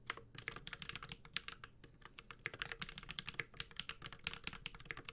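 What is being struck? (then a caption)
Mechanical keyboard with aluminum case and ABS keycaps. A Space65 Cybervoyager 65% mechanical keyboard with Holy Panda switches, an aluminum case and ABS plastic keycaps, is typed on continuously with the fingertips of both hands. A rapid, uneven stream of short, bright clacks rises over a soft low thud from each keystroke. Every key strike cuts off almost instantly, with no ring.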